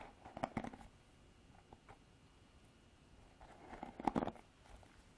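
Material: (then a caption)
Plastic. Long artificial nails scratch and flick through the black plastic bristles of a paddle hairbrush with a plastic body. Two short bursts of quiet, dry, crackly ticking, centered in the mids around 800 Hz, are separated by a stretch of near silence.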